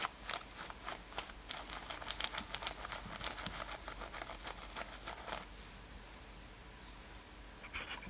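Long nails scratch a worn light-blue denim lace-up top near the lacing, making quick, bright, dry scratching strokes in an uneven rhythm. The scratches are dense and crisp for about five seconds, then drop to a faint hiss before a short burst returns at the end.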